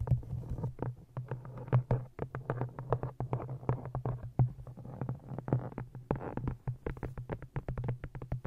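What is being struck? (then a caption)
Cloth-bound hardcover book. Long nails tap rapidly on the cover and top edge of an old green cloth-bound hardcover book held in front of a microphone. The result is a fast, irregular patter of short, dull, muffled knocks with almost no ring, heavy in the low end, over a steady low hum around 125 Hz.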